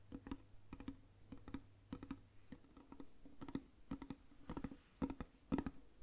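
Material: Lacquerware.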